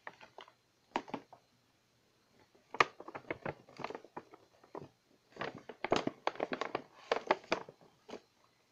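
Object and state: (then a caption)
Paper gift bag. A medium glossy pink paper gift bag with white twisted-paper handles, hollow and apparently empty, is held up and tapped or scratched with long painted nails. Quick, dry, papery taps and crinkly scratches come in irregular bursts separated by brief pauses. Each tap stops at once with no ring.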